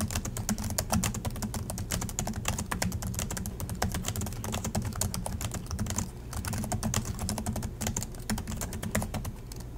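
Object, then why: Plastic laptop keyboard. Fingertips of both hands type steadily on the black plastic chiclet keys of a silver Acer laptop resting on a desk in dim light. Fast, dense, clicky keystrokes with bright tops patter continuously over a steady low hum, with a brief lighter stretch around the sixth second.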